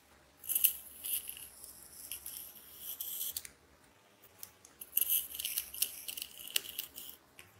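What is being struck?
Ball of plastic adhesive tape.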